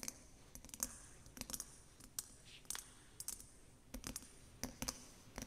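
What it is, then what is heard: Water-filled glass snow globe. Long acrylic nails tap the top and sides of a small, round, clear glass snow globe filled with water, with an angel figurine inside, resting upside down on fabric. Each tap is a short, bright click with a quick ringing tone high in the treble, spaced irregularly over a quiet background.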